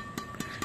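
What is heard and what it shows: The tightly strung string bed of a Hi-Qua Speed Power Addicted LTJ badminton racket, strung with Brillian synthetic string, is tapped three times to check its sound. Each tap is a short, crisp ping that dies away almost at once over a steady high tone near 1.2 kHz. The dense, tight stringing gives a loud, crisp sound.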